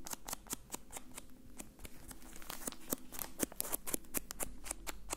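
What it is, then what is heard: Plastic bag of cotton balls being crinkled. A soft, full, hand-sized plastic bag with an orange label, filled with cotton balls, is squeezed and crinkled with the fingertips. Quick, irregular bursts of crisp, bright crackling come in a rapid stream over a faint low hum. The crinkling grows a little louder and denser toward the end.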